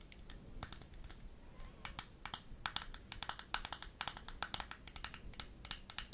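Long nails tap and scratch across the surface and edges of a small square Barbie-branded plastic blush compact with a gold metallic rim, held closed in front of the microphone. Rapid, irregular sharp clicks with bright, crisp highs come in quick clusters over a low, steady background hiss, each tap dying away almost instantly.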